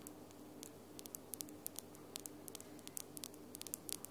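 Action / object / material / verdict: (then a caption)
tap / acrylic nails / acrylic / none. Long almond-shaped glitter acrylic nails are tapped nail against nail with both hands. The result is a quick, irregular run of sharp, bright, very short clicks, each dying away almost instantly, over a quiet, steady background hiss with a faint low hum.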